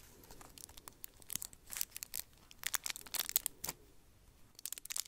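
Long nails scratch and crinkle the red foil wrapping of a hand-sized chocolate Santa close to the mic, possibly starting to unwrap it. Quiet, bright, tearing crinkles come in quick irregular bursts with almost no low end.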